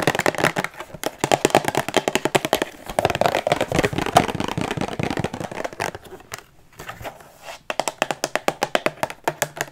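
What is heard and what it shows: A Rubik's cube in a clear plastic display box, held close to the mic, is tapped rapidly with long nails, giving about fifty sharp, clicky plastic taps with very little ring. The taps come in fast bursts with a quieter, scratchy pause around the six-to-seven-second mark before a steady run of taps resumes.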